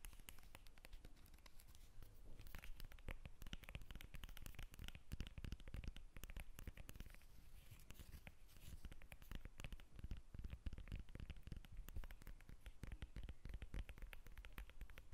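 A whole yellow lemon, solid and fresh, is held in both hands above a glass table while long red acrylic nails scratch and tap on its peel. The result is a dense, continuous run of quick scratches and soft taps, with a dull low thump under crisp, bright ticks and short, dry decays.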